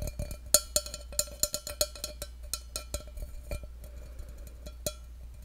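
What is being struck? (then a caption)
Stainless steel cup. Fingertips tap the side of a hollow, empty stainless steel tumbler held close to a microphone, making about sixteen quick, irregularly spaced taps. Each tap is a short, bright metallic tick with a faint ringing tone that fades almost at once, heard over a steady low hum.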